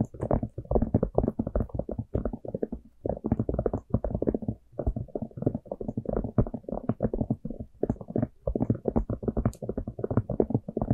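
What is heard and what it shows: Long manicured nails tap and scratch the surface of a small, hollow, empty orange plastic jack-o'-lantern cup with an open top. Rapid, dense clusters of dry, hollow clicks and scrapes, mostly low to mid in tone, come in bursts separated by brief pauses. Each tap dies away almost instantly.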